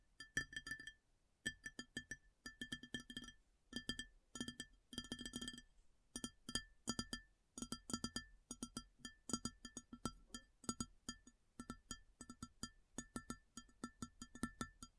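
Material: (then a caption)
Ceramic. Long fingernails tap rapidly on an empty, large, round white ceramic plate. The taps come in quick bursts with short pauses between them. Each sharp, dry click has a bright, glassy ring and a low body near 234 Hz, and each fades almost instantly.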